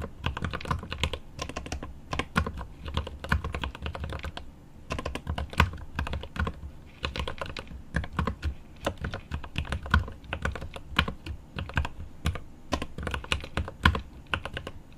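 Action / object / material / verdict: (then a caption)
tap / mechanical keyboard, plastic keycaps on aluminum case / plastic / none. A mechanical keyboard with plastic keycaps on an aluminum case is typed on with the fingertips of one hand, producing rapid bursts of short, dry key clacks with a deep thock-like low end and crisp bright ticks. The typing comes in quick runs separated by brief pauses.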